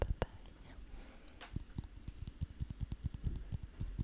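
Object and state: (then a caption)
Elongated green fruit, tapped with nails. An elongated green fruit about hand length, solid and whole with smooth-to-slightly-bumpy skin, is held against the microphone and tapped and scratched with long manicured nails. A rapid, uneven series of soft, dull, low thumps is heard, each dying away almost instantly, with faint brushing scratches between them.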